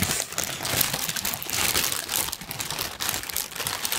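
A large, thin pink tissue paper sheet is crumpled with both hands, producing a steady, dense crinkling and rustling. The sound is bright and papery with little low end, swelling and easing in waves over four seconds.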